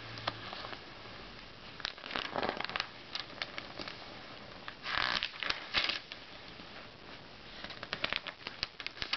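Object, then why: Thin glossy paper magazine pages. Fingertips slide over the thin glossy paper pages of an open Self magazine lying on a red bedspread, then lift and turn them. Soft, bright rustles and light crackling taps give way to louder, crisp swishes as pages turn, with the fullest turns in the middle of the clip.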